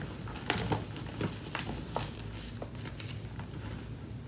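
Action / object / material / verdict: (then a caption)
scrape / gym chalk powder and chunks in a plastic tub / magnesium carbonate / none. Hands with long nails dig into a deep layer of powdery pink-white gym chalk (magnesium carbonate) with a few solid chunks in a white plastic tub, squeezing and crushing the pieces. A series of short, bright crunches and gritty crackles rises over a steady low rumble, each fading quickly.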